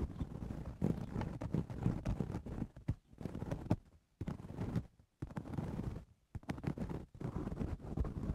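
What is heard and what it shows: Fingernails scratch the sides of the woven crown of a straw cowboy hat, making dense, rough scratching bursts that come in runs with brief silent gaps. The sound is dominated by low, rumbling texture with little bright content.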